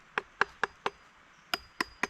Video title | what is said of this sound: Rivew Parang Belukar. Parang Yang Cocok Untuk Kegiatan Bushcraft dan Survival. Made In Indonesia | kalian dengar sendiri suaranya, udah bunyi ting ting ting ting gitu ya sama pisaunya